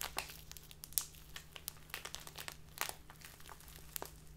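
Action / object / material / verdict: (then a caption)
scrape / thin plastic bag filled with loose tea / plastic / none. A small clear plastic bag filled with loose tea is held in both hands and squeezed and rubbed with fingertips and long dark-painted nails. It makes quiet, bright, irregular crinkling and crackling, with sharp short snaps scattered throughout over a faint steady low hum.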